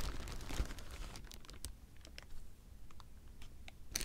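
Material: Plastic.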